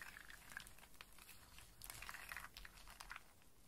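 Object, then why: In-shell walnuts and hazelnuts. A loose pile of dry in-shell walnuts and small hazelnuts is scratched and shuffled by fingertips and long nails. The hard shells clatter and click against each other in quiet, bright, dry bursts, with a busier cluster of clicks around the middle of the clip.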